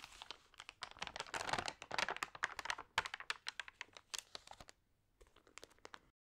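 Fingertips with long nails press, rub and scratch the damp pages of an open, water-sprayed glossy paper magazine, then turn a page. It makes quiet, bright crinkling and crackling in quick, irregular bursts, densest near the start. The sound thins to softer scratches before falling silent.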